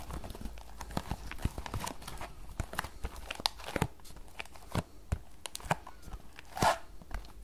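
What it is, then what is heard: Cardboard tea box. Long nails tap fast on a small, closed green paperboard tea box held sideways, making a galloping rhythm. Many short, dry taps with almost no ring come in quick clusters over a low, soft background hum.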